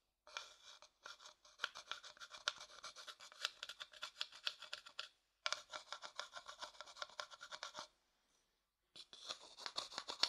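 A thin wooden stick scrapes and taps the inside of a medium, hollow, empty light-coloured wooden bowl held in one hand. Rapid, bright, dry clicking and scratching strokes come in bursts, separated by short silences near one second, five seconds and eight to nine seconds. Each stroke dies away almost instantly, with no low-end thump.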